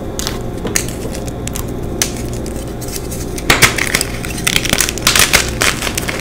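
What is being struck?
Block of magnesium carbonate gym chalk.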